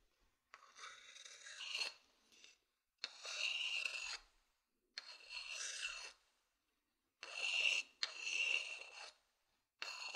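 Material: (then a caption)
Wood. A thin wooden stick scratches and rubs across the outer surface of a hollow, empty, medium-sized wooden bowl whose bottom faces the mic. A series of dry, bright rasping strokes, each a second or so long, is separated by short silences. The sound is almost entirely high-pitched, with no low end.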